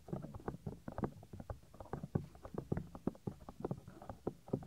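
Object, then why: Soft silicone microphone ear. Fingertips rub and scratch the small, solid white soft silicone ear of a 3Dio binaural microphone, making a rapid series of close, muffled thumping scrapes. The sound is low and dull with almost no brightness, and each touch stops dead without ringing.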